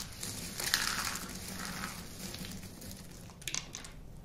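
Handfuls of dry yellow-green shredded soap crumbs are squeezed and crushed in a fist, then let fall back onto the heap. A dense, bright crunching and crackling rises early, thins out through the middle, and ends with a few sharper crunches.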